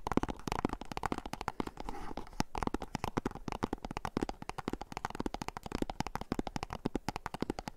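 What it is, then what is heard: Cardboard box, hollow. Fingernails scratch and tap quickly on a small, hollow, white and orange printed cardboard box. The result is a dense, steady stream of short, dry, hollow taps and scratchy rustles, mostly in the low and middle range with little brightness. Each tap dies away almost at once.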